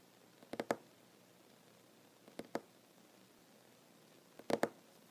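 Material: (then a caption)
Wood. The fingertips and short nails of one ringed hand tap a solid wooden tabletop in three quick bursts of a few taps each, separated by quiet pauses. The taps are short, dry and mid-pitched, with almost no ring and little low rumble.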